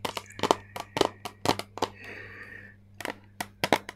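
Long painted nails tap a flat, hand-sized rectangular plastic eyeshadow palette, held in both hands, with a clear lid over a grid of colored pans. The result is a quick series of sharp, dry clicks that stop almost instantly, with a soft, steady mid-high shimmer in a brief pause between bursts of tapping.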